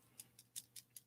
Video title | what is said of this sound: StudyBuddy (LSAT/MCAT/SAT/Finals/Work/Anything) 1 MONTH OUT! | the only thing that is rattling is the lead on the inside and it operates as a maraca